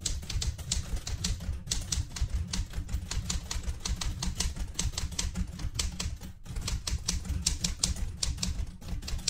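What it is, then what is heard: Metal manual typewriter. Fingertips with painted nails type quickly on the round keys of a light blue vintage portable manual typewriter with a metal body. The result is a steady stream of sharp, bright clacks over a low, thumping rumble from the machine, with short pauses near 1.6 and 6.4 seconds.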